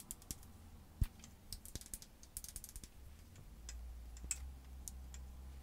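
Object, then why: Plastic lip gloss tube tapped with fingernails. Long white acrylic nails tap and click along a small clear plastic lip gloss tube with its applicator wand, held in both hands. Quick, sharp, bright clicks come in an uneven run, each dying away almost at once, over a steady low hum that grows slightly louder near the end.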